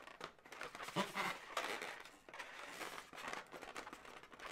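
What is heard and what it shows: Long nails scratch and squeeze a hollow, inflated blue latex balloon dog. The result is a steady run of bright, crinkly rubbing and squeaking, with louder squeaks standing out near the one-second mark.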